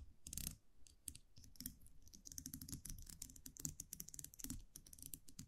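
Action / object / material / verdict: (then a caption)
tap / wire champagne cork cage with metal cap / wire metal / none. A small metal champagne cork cage, a wire muselet with a round metal cap, is held in the fingers and tapped and scratched with long manicured nails. Quiet, rapid, irregular clicks and scratchy ticks come in dense, bright bursts with a soft low rumble underneath. Each tap dies away almost instantly.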